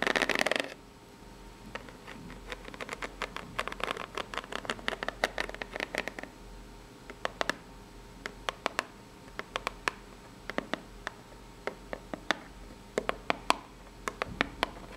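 Long pink nails tap and scratch the ribbed face of a small, hollow, brown corrugated cardboard box. A brief dense burst of scratching opens the clip, followed by quick runs of dry, papery scrape strokes. Then come sparser, sharp, bright taps and scratches that die away almost instantly.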